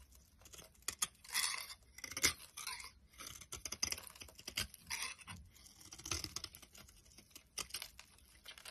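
A solid, dry green Brut soap bar held in the palm is shaved into flakes with a metal utility knife blade. Short, crisp scraping strokes come in irregular bursts, bright and crunchy with almost no low end. Each stroke stops dry, with no ring.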